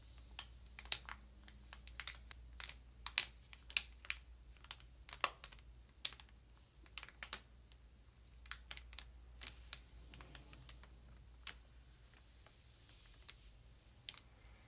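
Long nails tap around the edges and across the surface of a solid ream of printer paper in plastic wrap. The result is a quiet, irregular series of sharp, bright, clicky taps that die away instantly, some louder than others. A faint low hum runs steadily underneath.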